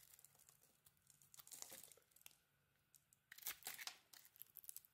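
A solid cream soap bar with a green glitter coating is held in hand and shaved into curls with a metal utility knife blade. Soft, bright scraping and crinkly tearing strokes come in bursts, louder and crisper near the end.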